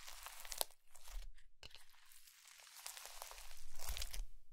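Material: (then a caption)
Slime, foam beads. A soft mound of blue slime packed with small white polystyrene foam beads, solid and squishy, rests on a white ceramic plate while both hands with medium-length natural nails press and squeeze it with fingertips and palms. Dense, bright crunchy crackles and popping bursts sound over a low rumble, with a sharp snap near the start and a brief quiet gap partway through before the crackling swells again.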